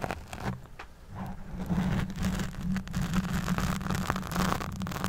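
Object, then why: Foam microphone windscreen. Long nails on both hands scratch around the sides of a black fuzzy foam windscreen on a microphone. The result is a dense, rustling, crackly scratching with a heavy low rumble and a steady low hum underneath, rising and falling in loudness. Faint brighter crackles flicker through at irregular intervals.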